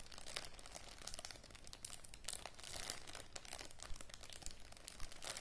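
A small clear plastic zip-lock bag with a red seal strip and dark contents is held and crinkled by fingertips with long matte grey nails. A continuous, irregular crinkling and scratching is heard, with bright, dense rustles over a low background rumble.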